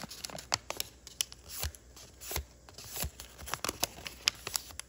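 Fingertips crease, flatten and crinkle a partly folded sheet of thin, layered origami paper on a wooden table. Sharp, bright paper ticks and snaps alternate with short swells of crinkling rustle, each sound dying away almost instantly against a quiet background.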